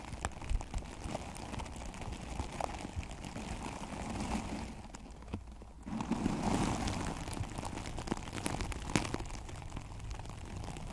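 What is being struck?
Plastic artificial grass cover over a microphone.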